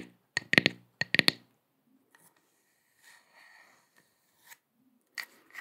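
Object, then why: Wooden log slice coaster. Long acrylic nails scratch a round, flat, solid wooden log-slice coaster with visible growth rings and a bark edge, held in both hands in front of the microphone. Two quick clusters of sharp, bright scratching clicks ring out early, centered around 1.9 kHz and dying almost instantly. Fainter, softer scrapes and a few isolated taps follow through the rest of the clip.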